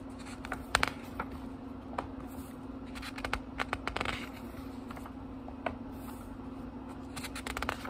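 Fingertips turn the thin paper pages of a small, thick book, producing crisp, papery flicks and soft rustling scrapes. Short bright snaps stand out at irregular intervals over a steady low hum.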